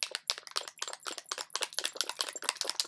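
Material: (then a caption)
Plastic. A plastic bottle of waterproof liquid BB foundation in shade Light Beige is shaken rapidly, producing a fast run of bright sloshing, rattling pulses with no low end. The thin, runny contents make it sound very liquid.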